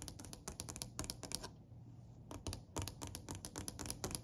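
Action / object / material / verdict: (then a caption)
tap / dark wooden step / wood / none. Fingertips and long nails tap rapidly on a solid, dark-stained wooden plank step. The result is a quick run of short, dry clicks with a dull low knock and a bright nail tick, pausing briefly mid-clip before resuming.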